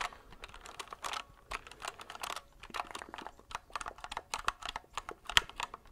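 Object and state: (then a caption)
Plastic mechanical keyboard. A compact white mechanical keyboard with plastic keycaps and a hollow plastic case is held upright in both hands while fingertips quickly tap and press the keys. The result is a rapid, uneven stream of short, bright, hollow plastic clicks with almost no ring and very little low end.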